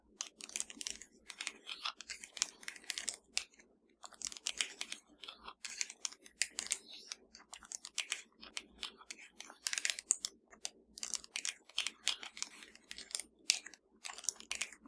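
Long dark nails of both hands tap and scratch a slim, hollow black plastic Fire TV remote lying flat. The result is a dense run of quick, bright plastic clicks and scraping, each dying out instantly, with short quiet gaps between bursts.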